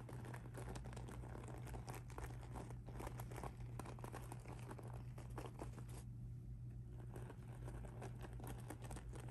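Fingertips with blue nails scratch and rub across a soft pink sparkly rhinestone mesh handbag lying flat on a table. The result is a dense, continuous crinkly scratching with quick gritty taps, over a steady low hum. The texture briefly thins out around the six-second mark before resuming.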